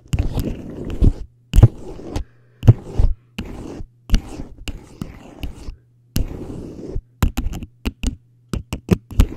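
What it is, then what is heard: Plastic cone scratched and tapped with a fork. A small, hollow teal plastic traffic cone, held upright in front of the face, is scratched and tapped with the tines of a metal fork held in the other hand. Bursts of gritty scraping alternate with quick, sharp taps that carry bright clicks and die away almost instantly. A steady low hum runs underneath.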